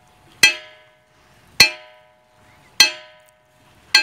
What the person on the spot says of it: elas emitem som de sino bem diferente